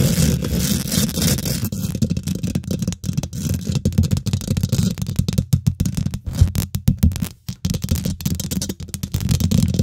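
Fingernails scratch fast across the hollow steel wire-mesh grille of a microphone head. The result is a dense, choppy, low rumbling scrape, with a boomy hum around 86 Hz. Brief sharp dropouts break it up.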